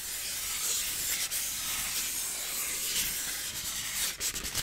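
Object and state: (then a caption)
Styrofoam block rubbed by hand. A solid white styrofoam block is rubbed with a flat hand and fingers, making a steady, bright, hissing scrape. The sound stays fairly even, then breaks into a few short, choppier strokes near the end.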